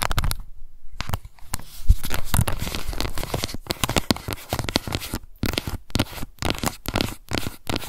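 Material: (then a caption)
Plastic. Long nails scratch the base of a small pink plastic cushion foundation compact, then tap its top lid. The result is a dense, dry run of crackly scratches and quick clicky taps with short gaps between bursts near the end. The sound is heavy in the lows, and each hit dies away almost at once.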